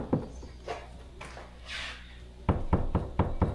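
Knuckles knock on a drywall wall over a stud, producing deep, short, dull thuds that die away almost at once, with a soft hiss partway through. A few scattered knocks are followed by a quicker run of five firmer ones, and the sound is solid, indicating a stud behind the drywall.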